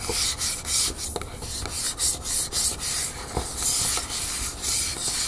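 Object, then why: Metal aerosol can. A Vaseline Spray & Go aerosol lotion can, a hollow metal cylinder with a printed surface standing upright, is tapped and scratched with the long nails of both hands. Bright, hissy rasping strokes swell and fade in quick waves, broken by short, sharp taps.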